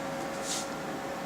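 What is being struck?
Nothing is struck.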